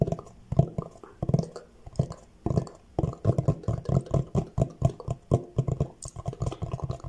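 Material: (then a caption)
Cardboard. Fingertips and short nails tap and scratch the front face of a large, flat, rectangular, hollow orange Fendi cardboard box held upright in both hands. The result is rapid clusters of dull, hollow, low thumps with very short decay and soft scratchy texture between them, and little high-frequency content. Soft mouth sounds may be mixed in.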